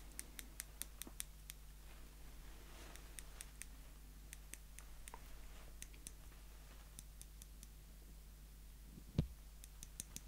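Small, slim, solid steel tweezers are held in the fingers while their tips are squeezed and clicked together repeatedly. Crisp, bright little clicks come in quick bursts and scattered taps over a steady low hum, with one louder knock near the end.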